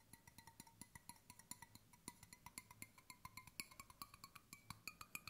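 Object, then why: Stainless steel water bottle. Fingertips tap the body and base of a hollow stainless steel water bottle held sideways, giving a quick run of around forty short, light taps. Each tap is a bright metallic tick with a faint ringing tone near 2.3 kHz that dies away almost at once.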